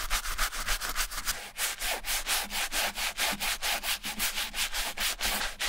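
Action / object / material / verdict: scrape / leather ballet flat scrubbed with a bristle brush / leather / none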